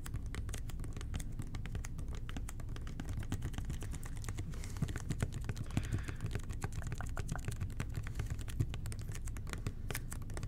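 A hollow red plastic toilet cleaner bottle with an angled nozzle, held in both hands, is tapped and scratched rapidly with fingertips and short nails. Dense, quick clicks with a low hollow body ring over a steady soft background.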